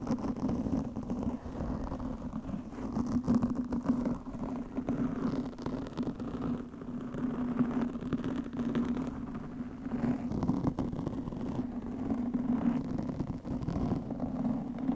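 Long nails on both hands scratch a black, soft porous foam windscreen over a studio microphone. The result is a steady, dense, muffled scratching rustle with a low droning tone underneath and almost no high content, continuing without a break.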